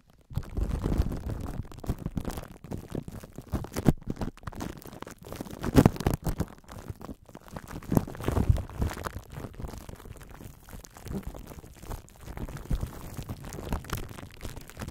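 Both hands cup a metal microphone grille wrapped in clear plastic cling wrap, with long nails scratching and fingertips rubbing the film so it crinkles. The sound is a close, muffled, bass-heavy stream of crinkling, rustling and scratching, with louder swells around the middle and little high-end content.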